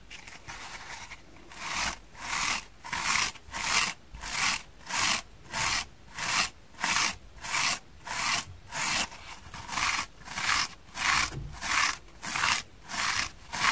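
Long painted fingernails scratch the yellow-green foam side of a small, soft, dry, green porous foam kitchen sponge held in both hands. The result is a steady, rhythmic series of dry, bright, hissing scrapes, each separated by a brief pause, following a quieter, continuous rasp at the start.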